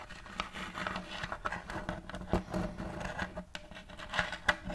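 Fingers and nails tap the front of a round, thin, shallow plate of light checkered wood, held empty and upright close to the mic. The result is a quick, uneven patter of soft, dry wooden ticks mixed with light scratchy nail scrapes, each dying away almost instantly with no ring. A few sharper, brighter clicks stand out near the end.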